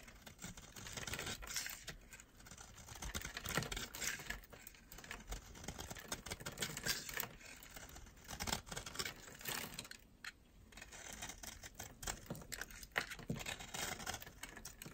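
A metal utility knife blade shaves and scrapes dry, flaky curls off a solid white oval bar of soap with silver glitter, held in a hand with long red nails. The result is a continuous run of crisp, dry, bright scratching and crackling, with short bursts that rise and fall in loudness throughout.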